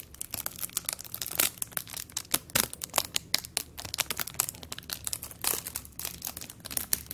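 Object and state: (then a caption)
Aluminum foil lollipop wrapper. A small lollipop on a white plastic stick, wrapped in crinkled aluminum foil, is held and peeled open with long yellow acrylic nails and fingertips. The thin foil gives off a dense run of bright, sharp crinkles and rustles. Short louder crackles stand out throughout.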